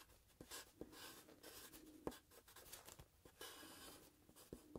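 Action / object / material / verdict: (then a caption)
scrape / paper sheet on plastic clipboard / paper / none. A graphite pencil scratches and strokes across a sheet of paper clipped to a grey plastic clipboard held at an angle while drawing. Quiet, bright, papery scratching comes in short bursts, punctuated by brief sharp ticks as the pencil strikes and lifts off the page.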